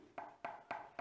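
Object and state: Sturdy cardboard tube with a wood-like sound.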